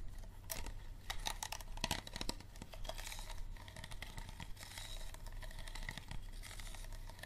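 Fingernails tap and skitter over the ribbed body of an empty, hollow clear plastic water bottle with its label removed and a green cap on. The result is a dense run of quick, light clicks and crinkly plastic ticks over a steady low hum, with bright crackle and short, dry decays.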